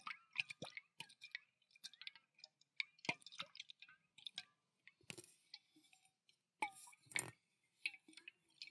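A pale green stainless steel tumbler partly filled with water is tilted and shaken with both hands. Quiet, bright clicks and splashy sloshes of water against the metal come in irregular bursts with short pauses between them. Each sound is short and dry, with almost no low end.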